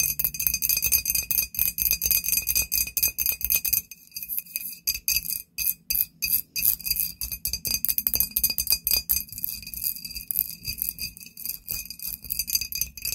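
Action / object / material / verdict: tap / glass bottle / glass / none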